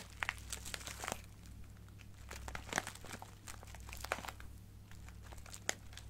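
A small clear plastic bag full of colorful acrylic craft gems is held in one hand and scratched and crinkled with the nails of the other hand. Dense crinkling and scratching are punctuated by sharp, bright clicks and ticks from the loose gems shifting inside. A steady low hum runs underneath throughout.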